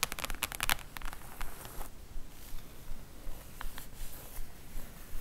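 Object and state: Cardboard book slipcase.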